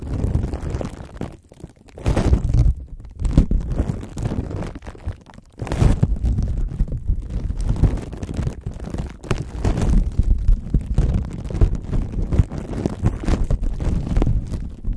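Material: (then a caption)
Plastic film. Fingertips and nails scratch and rub clear plastic cling wrap stretched over the metal mesh grille of a large microphone, working on the lower part of the grille and making crinkles. Close to the mic, this comes across as a dense, boomy, low rumbling scrape with almost no high end. It continues steadily, with brief quieter dips near 1.5 and 5.5 seconds.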